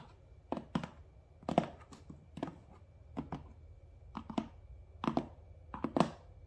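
Fingertips and nails tap and scratch the front face of a medium, closed, hollow cardboard Amazon Prime shipping box. About seventeen short, dry, hollow thunks arrive in loose pairs, each dying away almost instantly, with faint scratchy rustle between them.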